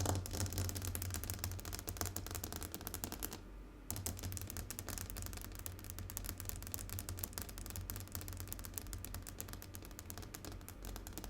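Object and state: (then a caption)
Glass tabletop. Fingernails tap quickly and continuously on a glass tabletop, making a dense run of light, bright clicks over a steady low hum. A brief near-silent gap falls around the 3.5-second mark before the rapid tapping resumes and carries on to the end.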